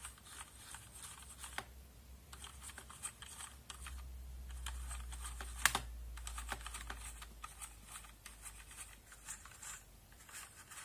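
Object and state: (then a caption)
Plastic mechanical keyboard. A brush and fingers sweep across the rows of a backlit plastic mechanical keyboard with plastic keycaps, brushing and clicking the keys. Soft bristly scratching mixes with irregular sharp clicks, over a steady low hum that swells in the middle, where one louder click stands out.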